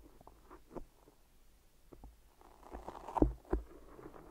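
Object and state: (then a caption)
Tape-wrapped microphone being tapped. Long nails and fingertips tap and press on two binaural microphone ears wrapped solidly in white adhesive tape. Soft, irregular, muffled taps and sticky presses sit low and dull with no bright sound. They build to a couple of louder, deeper thumps near the end.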